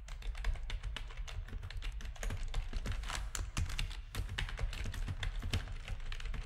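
Fingertips of both hands type rapidly on a full-size black plastic backlit RGB gaming keyboard with a hollow housing. The sound is a steady, dense clatter of short, sharp key clicks over a deep, hollow thumping bed, with bright ticks on the stronger presses.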